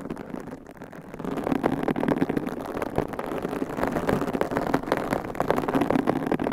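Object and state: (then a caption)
Foam microphone windscreen being scratched. Long pink coffin-shaped acrylic nails scratch and squeeze two identical large, soft white foam windscreens on binaural microphones, with both hands working the foam covers. The result is a dense, crackling, muffled rustle with little bright content, soft for the first second, then louder with rapid scratchy bursts throughout.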